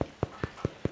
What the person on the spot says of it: it should sound kind of hollow